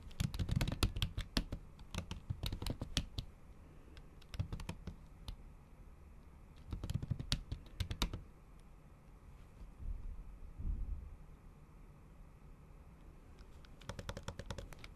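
The tips of long acrylic nails tap repeatedly on a MacBook's solid keys under a thin, pink patterned plastic/silicone keyboard cover. Quick bursts of sharp, dry clicks come in clusters with quiet pauses between them, over a low background rumble.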